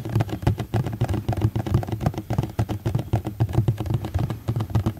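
A medium rectangular black ribbed plastic food tray, hollow and empty, is held in both hands and tapped with fingertips and nails. The result is a fast, irregular patter of dull, hollow low thuds mixed with short, dry clicks that die away instantly.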